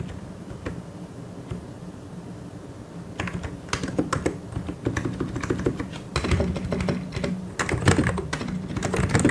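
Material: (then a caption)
Plastic. A white and grey plastic mechanical keyboard is typed on quickly with the fingertips of both hands. It starts with a few soft, scattered key taps over a low background hum for about three seconds. Then it builds into dense, uneven bursts of clacky keystrokes with a deep, thocky low end and short, dry decays.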